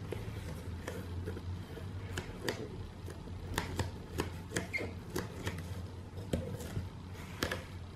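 Both hands tap and scratch the side of a hollow, medium corrugated cardboard shipping box, closed and taped, using long dark-painted nails. Sharp, dry taps ring out in a steady series over a soft scratching texture, each fading almost at once. A steady low hum runs underneath, with faint music or speech in the background.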